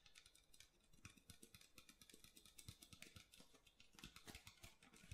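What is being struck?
Thin plastic water bottle.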